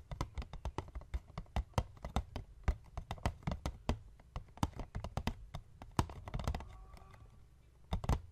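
A small, hollow white cardboard box lying flat on a wooden table is tapped quickly with the fingertips and short nails of both hands. The result is a steady patter of dozens of soft, dull, low-pitched knocks that die away instantly, with a brief scratchy stretch near the end before a final cluster of taps.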